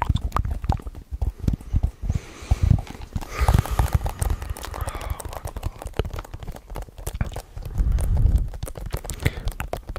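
A hollow hard plastic DVD or game case is held up close to a microphone and tapped fast with fingertips and nails. Rapid, dry clicking taps with a low, hollow thump come in an uneven clip-clop rhythm, each dying away at once. A denser, louder run of tapping swells briefly near the end.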